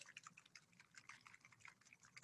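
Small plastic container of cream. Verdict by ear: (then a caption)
Churned. A small plastic container, half filled with heavy cream that has already been shaken into butter clumps and buttermilk, is shaken by hand. A quiet, rapid series of bright, wet sloshing splashes and clicks is heard, with little low end. The liquid is audible again now that the butter has separated from the buttermilk.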